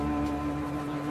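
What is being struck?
Nothing is struck.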